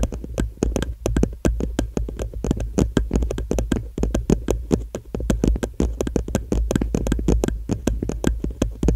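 An empty, hollow blue plastic party cup is held upside down over the microphone and tapped with long nails. It gives a fast, steady stream of sharp clicky taps over a deep, booming hollow thump. Each tap dies away almost at once.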